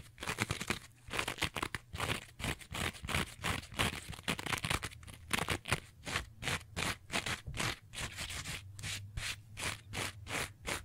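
Long nails scratch and rub the rough green scouring side of a rectangular two-layer kitchen sponge with a yellow foam layer. Fast, uneven strokes of about three per second make dry, bright, rasping bursts. Each burst stops short, with no ring, over a faint low hum.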